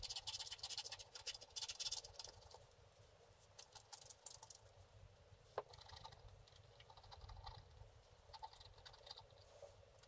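A wooden stylus scratches the black coating off a flat scratch-art paper card lying on a table, while one hand steadies the board. Rapid, bright, dry scratching strokes are dense and louder at first, then thin into softer, irregular scrapes, with one sharp tick partway through.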